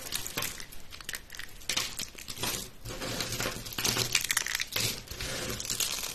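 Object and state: Dry, brittle soap shavings.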